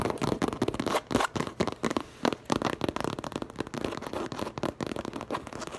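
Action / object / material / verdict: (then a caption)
scrape / coated canvas tote bag / coated canvas / none. Long lavender nails from both hands scratch and tap quickly across the printed coated canvas front of a tote bag, producing a dense run of sharp, dry crackling clicks and scrapes. The bursts come in rapid uneven clusters with brief pauses and almost no ring after each hit.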